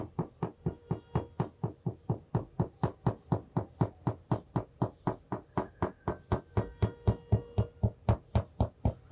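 A plastic marker taps and knocks on the cardboard cover of an A5 hardboard-cover notebook held at an angle beside the mic. About 37 short, dull, low-pitched knocks come in a steady, quick rhythm of roughly four per second, each dying away almost at once.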